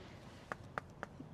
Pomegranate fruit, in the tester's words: ഇതേ കൊട്ടുമ്പോൾ വേറൊരു സൗണ്ടല്ലേ. ഇതാണ് പഴുത്ത് കഴിയുമ്പോഴത്തെ സൗണ്ട്.